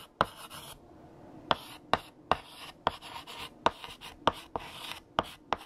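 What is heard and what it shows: A hand writes with orange chalk on a large, flat black chalkboard. Ten sharp, bright taps stand out as the chalk strikes the board, with soft scratching strokes between them.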